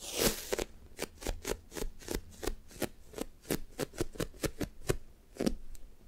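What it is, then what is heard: Sticky foam squishy toy tapped with nails. Both hands with long nails press, tap and drag their fingertips across the top of a solid, soft, light-blue foam toast squishy toy with a sticky coating. After a brief rustly burst at the start, about eighteen short, crisp sticky peeling clicks follow in a steady rhythm. Each one snaps bright and dies away almost at once over a faint low background.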